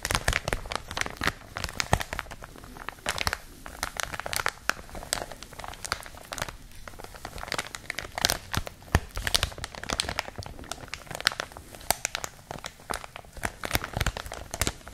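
A clear, thin plastic packaging bag around a white and blue product is crinkled and scratched with long nails. The result is a dense, continuous run of sharp crinkles and crackles with bright, brittle highs and very little ring after each sound.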